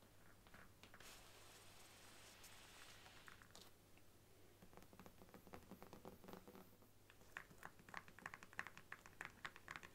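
Long nails tap and scratch the cover and edge of a large brown faux leather Bible lying flat. Soft, breathy scratching and rustling in the first half gives way to quicker, crisper taps with bright clicky edges that grow louder toward the end. A faint, steady low hum runs underneath the whole time.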